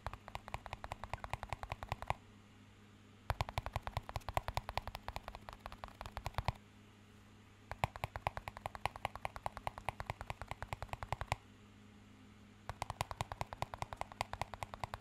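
A small, empty clear plastic cup is tapped with the fingertips while partly raised, producing quick, sharp clicks in four rapid bursts separated by short pauses. The taps are dry and short with almost no ring, over a steady low hum.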